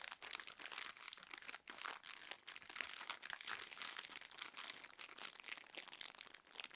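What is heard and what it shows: A cylindrical roll of cotton pads wrapped in thin, crinkly plastic film, soft and full, is held in both hands and scratched and squeezed with long acrylic nails. The result is continuous bright crinkling and crunching with dense rapid scratches and almost no low end.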